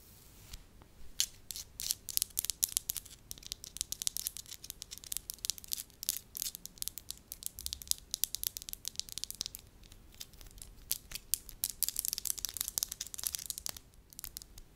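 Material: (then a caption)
Wax. Long lavender acrylic nails tap and scratch a solid lump of soft beige wax, later pressed into a flat disc. Dense, rapid, crisp clicks and scraping crackles come through bright and dry, with almost no low end and no ringing between strokes. The bursts are steady and quiet overall, growing busier and brighter toward the end.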